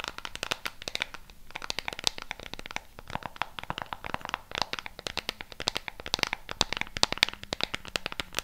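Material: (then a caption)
Plastic. Long pink nails rapidly tap and scratch the colored rubber buttons of a flat black plastic LED remote control. The result is a dense, irregular stream of bright, dry clicks and scratchy rasps with almost no ring, some taps standing out sharper than others.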